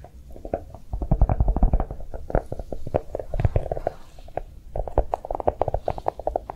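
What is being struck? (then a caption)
Chocolate-shaped notebook. A notebook made to look like chocolate is tapped quickly with soft, rapid taps. The dull, low thuds are short and dry with almost no ring, arriving in dense irregular flurries that ease briefly before picking up again.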